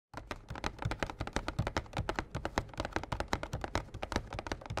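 Short fingernails and fingertips of both hands tap a small, printed, glossy cardboard Yu-Gi-Oh Slifer structure deck box, hollow and filled with cards, standing upright on a playmat. A quick, uneven run of about thirty soft, dull taps with a low, hollow thump follows. Each tap dies away almost at once.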